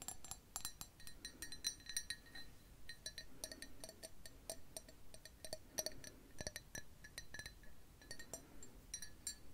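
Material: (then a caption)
Ceramic. An empty, hollow, blue speckled glazed ceramic coffee mug with a white handle is held in hand and tapped with long acrylic nails on its sides and bottom. The taps come as quick, irregular bursts of bright, glassy clinks, each dying away almost at once over a faint low rumble.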